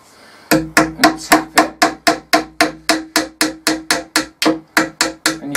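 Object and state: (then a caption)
Wall plug fully seated in brick. A hammer taps a plastic wall plug and screw through a drilled hole in a workbench into a brick wall, making about 20 quick, regular, sharp knocks with a short ringing tone. The tapping sound changes as the plug reaches the right point, showing it is fully seated in the brickwork.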